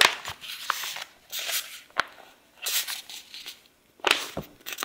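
An open paperback book with paper pages, held in the hand, as fingertips and nails rub and scratch across the pages. Bursts of dry, bright scratching and sanding-like rubbing alternate with short, sharp taps and brief silences.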